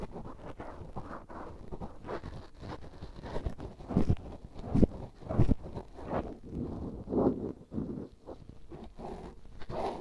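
A black cotton swab held in the fingertips rubs inside the ear canal and bowl of a life-size, solid, soft, rubbery white silicone ear that serves as a binaural microphone. The result is close, muffled, low-pitched rubbing and scratching with an uneven rhythm and almost nothing bright. Louder scraping bursts swell around the middle and again near the end.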